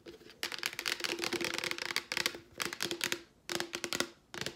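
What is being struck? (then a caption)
Plastic wipes canister. A Clorox plastic wipes canister is held upright and tapped with long nails on its label and sides. The result is rapid, bright, dry clicking in busy bursts separated by brief pauses, with each tap dying away almost instantly.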